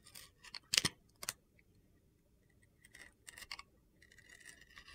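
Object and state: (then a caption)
Bar soap being carved. A utility knife blade repeatedly carves and shaves the side of a blue glitter-coated bar of soap. Short, bright, gritty scraping bursts come in quick clusters, with brief quiet gaps between them. A longer, softer run of fine high scratching follows.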